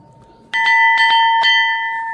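A small, heavy metal ship's bell, said to come from HMS Hood, is struck with an old nut because its clapper is missing. It rings out with a clear, bright, sustained metallic tone and steady high overtones, showing the bell is not cracked.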